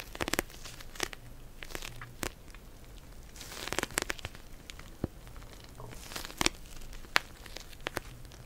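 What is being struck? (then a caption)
Plastic gel bead cold pack. A pink plastic gel bead cold pack is held in both hands while long nails tap and scratch across it. Bright, crinkly crackles and scratchy rustling are broken up by sharp, quick taps, each dying away almost instantly in a close, quiet space.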